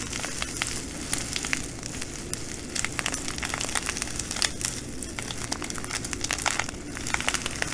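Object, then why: Glass bugle beads in a plastic bag. A full plastic bag of green glass bugle beads is folded and squeezed by fingers, and the beads crunch and crackle against each other inside the plastic. The sound is a steady bright, dense crinkling laced with many sharp little clicks and ticks over a soft low rustle.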